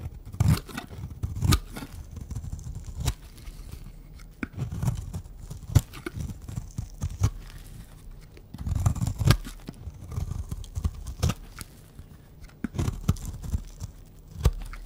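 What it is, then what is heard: Dry bar soap being shaved. A pink, round, solid bar of dry soap is held in the hand and shaved into curls with a utility knife blade. The sound is a series of dry, short scraping cuts with a low, muffled body, plus brief bright clicks as the blade bites. It repeats in uneven bursts throughout.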